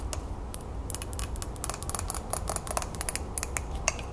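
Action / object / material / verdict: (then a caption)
tap / glazed ceramic mug / ceramic / none. Long nails tap quickly on the sides and handle of a green glazed ceramic mug with an infuser as it is held and turned in the hands. The taps are rapid, bright, dry clicks with very short ring, some carrying a faint tone around 650 Hz. A steady low rumble sits underneath throughout.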